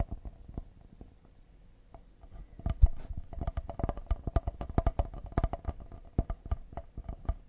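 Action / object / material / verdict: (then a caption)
tap / cedar wooden serving board / cedar wood / none. A solid cedar serving board with a handle and a hole in the handle is tapped with fingertips and nails on its face and handle. Dry, short, low wooden knocks with a faint mid-range tone start sparse and soft, then become a faster, denser and louder run of taps from about 2.7 seconds on.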